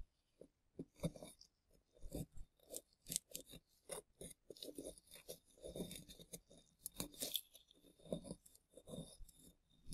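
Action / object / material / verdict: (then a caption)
scrape / plaster excavation block / plaster / none. A small plastic chisel tool scrapes a hand-sized rectangular solid plaster (gypsum) block carved with a relief triceratops, held in green-gloved hands. It makes a quick series of short, dry, crunchy scrapes with a gritty, bright edge and soft low thumps. Each stroke stops dead, with brief pauses between them.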